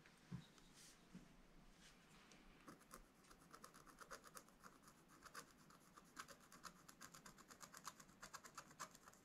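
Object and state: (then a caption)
Scratch-art paper being scratched. A pointed wooden stylus held in the fingers scratches a black-coated scratch-art page in a spiral-bound book lying flat on a table, revealing colored foil lines. Quiet, dry scraping strokes start sparse, then quicken into a steady run of short, bright scratches.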